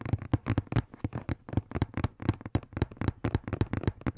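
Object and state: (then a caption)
Cardboard box tapped. A hollow blue and black printed cardboard product box is held near the microphone and tapped quickly with fingertips and nails. The result is a rapid, irregular run of short, dry, hollow thumps with a low body and faint clicky edges, each dying away almost instantly.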